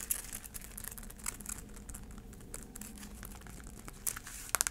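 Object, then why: Braided heeled sandal insole and sole. A black braided heeled sandal is held up while long acrylic nails tap and scratch its tan insole and sole. Quiet, bright scratching and crinkly rustling run throughout, broken by sharp, dry clicks that stop instantly. A cluster of louder taps comes near the end.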